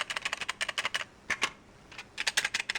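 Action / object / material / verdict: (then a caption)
shake / recordable minidisc in plastic cartridge / plastic / none. A recordable minidisc in its plastic cartridge is shaken to check how much it rattles. The result is a quick series of bright, dry clicks and rattles in bursts, with a short pause in the middle.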